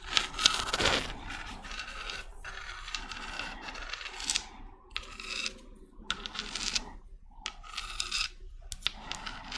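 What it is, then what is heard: Spiky seashell. Long red nails rub and scratch the surface of a small, hollow, white spiky spiral seashell with brown spots. The result is bursts of bright, dry rasping and scraping, broken by brief pauses and a few sharper clicks.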